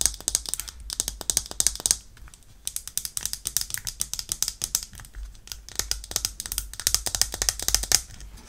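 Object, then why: Small plastic travel pet bowl. Long painted nails tap and scratch a small, hollow, bright-green plastic cup-shaped travel pet bowl with a clip, held close. Rapid bursts of crisp, bright clicks and light scratches die away almost instantly, with brief pauses between the flurries.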